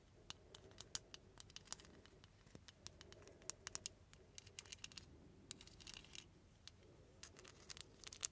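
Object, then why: Glass perfume bottle with metal filigree overlay. Long nails tap and scratch a small ornate glass perfume bottle with a silver filigree overlay and a glass stopper. A quick, irregular series of sharp, bright clicks rises over a soft, steady scratching hiss. The taps are very short, with almost no ring.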